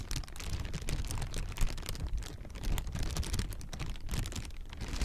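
A clear plastic air-pillow packing strip, hollow and light, partly inflated and partly deflated, is held in the hands and squeezed and crinkled with the fingers. The result is a steady, dense stream of soft crinkles and short crackles with a dull, low thump under bright, quick rustles that stop almost at once.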